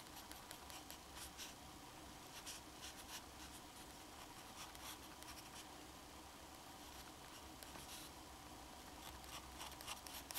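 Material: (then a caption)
Paper. A black fountain pen held in the fingers scratches its metal nib across a flat, thin, solid sheet of drawing paper while drawing a small head. Quiet, steady scratching runs throughout, broken by short, bright bursts of nib strokes over a faint low hum.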